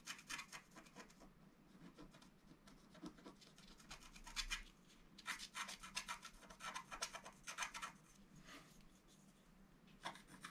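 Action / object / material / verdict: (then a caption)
scrape / black-coated scratch art card scratched with a wooden stylus / coated card / none. A wooden stylus scratches lines into the lower-left wing area of a flat, black-coated scratch art paper board lying on a table. Bright, dry, rasping scrapes come in quick bursts and longer strokes, with soft pauses between them over a quiet low background.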